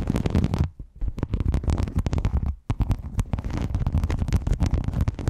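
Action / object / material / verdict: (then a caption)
scrape / rhinestone mesh sheet over a microphone / rhinestone mesh / none. Fingernails scratch and tap a silver rhinestone mesh sheet draped over a microphone. The result is a dense, boomy, crackling rumble, heavy in the lows, with brief lulls between bursts.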